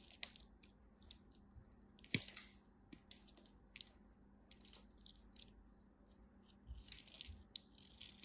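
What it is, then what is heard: Dry bar soap. A craft knife carves and scrapes small cubes off a small remaining wedge of a red-white dry bar soap held in the fingers. Quiet, bright, crisp crunches and short dry scrapes come in scattered bursts, with one sharper snap near two seconds, over a faint steady low hum.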